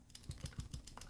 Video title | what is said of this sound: Moonman M100 with a Bock Titanium Nib | when you shake it around it's not the converter on the inside it's actually the clip